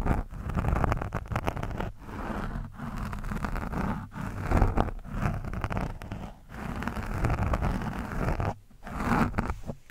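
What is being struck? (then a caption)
Foam microphone windscreen scraped with a metal screwdriver tip. A metal screwdriver tip scratches an orange foam windscreen on a microphone, making a dense, low-heavy scraping and rustling texture with crackly grain. The scratching comes in sustained passages broken by brief pauses, with little bright content.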